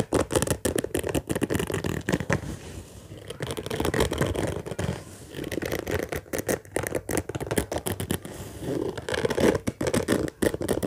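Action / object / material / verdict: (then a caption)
scrape / fabric-covered suitcase / fabric / none. Fingertips and nails scratch and rub quickly across the top of a hollow orange fabric zippered suitcase lying flat. The result is a dense run of rapid, raspy scratching strokes with a warm midrange body and a soft low hollow resonance. The strokes swell and ease in short bursts throughout.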